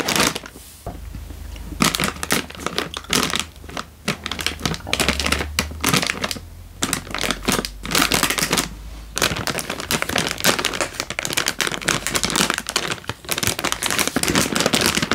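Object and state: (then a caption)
Plastic instant noodle packet. A sealed, hand-sized plastic-film instant noodle packet, full with a dry noodle brick inside, is held in one hand and crinkled and squeezed with the fingertips. Dense bursts of bright, crackling crinkles run across the clip, broken by brief quieter pauses, over a faint steady low hum.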